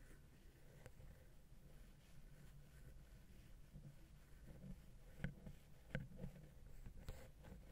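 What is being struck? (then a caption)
Metal microphone capsule housing tapped with a wooden pick. A wooden ear pick scratches and taps the small, hollow, silver metal XY microphone capsule housing on a Zoom H6. A quiet, low, rumbling scratch runs throughout, then four short, sharp taps ring out near the end with very little ring.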